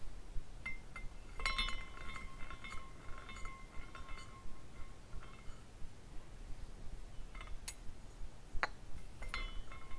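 A hand twists the top spire of a small clear glass carousel figurine on a rainbow glass base, spinning it so the hanging glass horses tinkle against each other. Bright, delicate glassy clinks and short chime-like rings come in irregular bursts over a faint low rumble.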